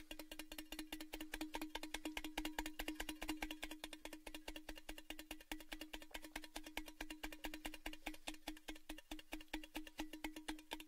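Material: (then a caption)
Thin metal. Fingertips tap quickly on the outside of a tall, hollow, empty orange cylindrical Baileys gift tin, held open end down near the microphones. A fast, steady stream of light metallic taps each carries a short hollow ring around 305 Hz, with bright, clicky attacks on top.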